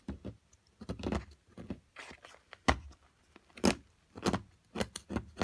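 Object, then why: Plaster block and metal pick. A small metal carving pick chips and scrapes at a solid plaster block from an excavation kit while long-nailed fingers hold it steady. The result is a series of short, dry chipping taps with bright scratchy edges and soft low knocks, with quick gritty scrapes in between and no ringing.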